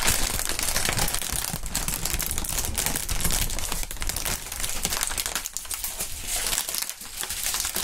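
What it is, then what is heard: Plastic air pillow packaging bag. A medium-sized, clear, inflated plastic air cushion packaging bag with green print, hollow and air-filled, is held, crinkled, squeezed and shaken by hands in fingerless gloves. A dense, continuous crackling and rustling fills the clip, bright and hissy on top with a low, thumping rumble underneath. It stays steady throughout, easing briefly around five and a half and seven seconds.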